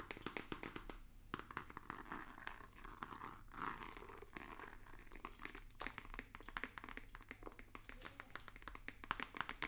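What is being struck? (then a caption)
Rigid cardboard box. Fingertips and nails tap rapidly on a hollow, white rigid cardboard box with a small printed logo. The result is a quiet, dense run of short, dry clicks and soft crinkly scratches with almost no ring, over a faint low hum.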